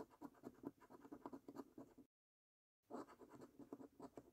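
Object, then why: Latex-coated paper scratch card. A coin scratches the latex coating off the prize circles of a paper lottery scratch card in quick, rasping strokes. The dry, mid-pitched scrapes come in a rapid run, stop for a brief silence, then start again.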